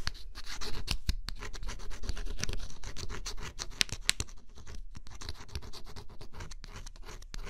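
A metal-tipped stylus scratches in quick, irregular strokes across the scratch coat of a flat cardboard scratch-off jigsaw puzzle. The steady, close-up rasping is bright and papery, with dull low taps as the tip strikes the cardboard. The sound stays dense from start to finish without pause.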